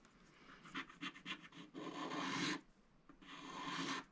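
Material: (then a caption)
Coated paper. A wooden stylus scratches across the koala and giraffe area of a coated scratch-art paper sticker sheet held flat. A few quick, short scratching strokes are followed by two longer, sustained scrapes with a brief pause between them. The sound is a dry, bright rasp with little low end.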